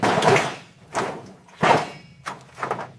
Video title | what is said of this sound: Restoring a Destroyed Pontiac GTO Found in Forest Full Transformation #restoration #automobile | It sounds hollow, like a bell tolling.